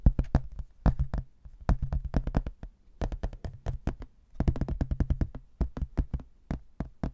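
A rigid laminated hardboard placemat printed with a landscape photo, held in both hands, is tapped with fingertips and nails across its solid thin board surface. Quick bursts of dull, low, hollow-sounding taps come in clusters separated by short pauses. Each tap dies away almost instantly with no ring.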